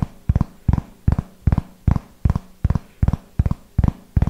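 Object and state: Hardcover notebook.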